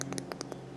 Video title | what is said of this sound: Cooking a Halloween Dinner | if they are nice and firm and you can kind of hear them when you tap on them then they're fine